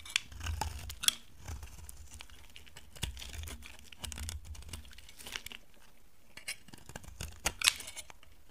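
A steel utility knife blade carves and scrapes a palm-sized, solid orange bar of dry soap, breaking flakes off. The result is crisp, brittle scraping and cutting, with bright, dry crackles and sharp snaps that stop instantly, over a soft low rumble.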